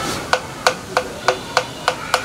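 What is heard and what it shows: A bamboo resonating tube of an angklung is knocked seven times in a steady rhythm to check its tone for tuning, which must match the tube's air resonance. Each knock gives a short, hollow, woody tone centered near 500 Hz with bright overtones that die away quickly. The pitch of a new tube starts high and is lowered by cutting its edges.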